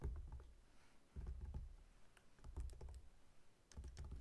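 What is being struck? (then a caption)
Whole pineapple rind. Fingertips and short nails tap and scratch the scaly rind on the sides of a whole, solid pineapple standing upright on a table. The result is a quiet, irregular run of short, dull, low thumps with brief clicky scratches that die away almost instantly.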